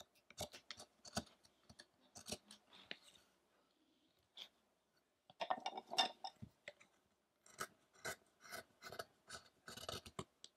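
A small chisel held in the fingers repeatedly cuts and scrapes the carving area of a large, solid light-wood statue of the fasting Buddha, still on its rough wooden block. Quiet, crisp, bright scraping and clicking cuts come in irregular bursts, with a near-silent pause in the middle. Each cut stops dry with almost no ring.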